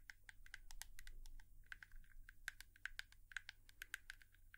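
A hairbrush is tapped rapidly with long nails, giving a quick run of short, sharp clicks with a bright tonal ping around 1.6 kHz. Each tap dies away almost instantly over a faint low hum.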